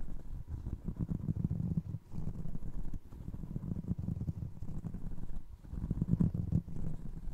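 Fingertips and short nails tap and scratch the sole edge of a single navy blue foam resin Crocs clog held by the heel. The result is a dense run of soft, dull, low thuds and rubbing, muffled with almost no bright content, each tap dying away almost instantly. Brief quieter pauses break up the otherwise steady patter.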